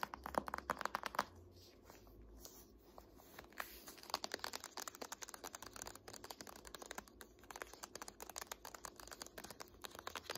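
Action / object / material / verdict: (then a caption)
tap / hardcover book with laminated cardboard cover / laminated cardboard / none. An "Art History" hardcover paper textbook is turned from its front cover onto its spine while long nails tap and scratch its laminated cardboard. A burst of rapid, crisp taps at the start gives way to quieter, irregular clicks and dry scratching that continue throughout.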